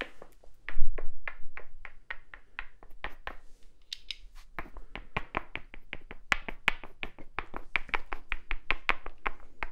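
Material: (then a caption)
Wood. A small, solid, light-colored wooden cube held in one hand is tapped and scratched with fingertips and nails. A rapid, steady series of short, dry, bright clicks decays almost instantly, with a brief pause of lighter, scratchier strokes midway and a constant low hum underneath.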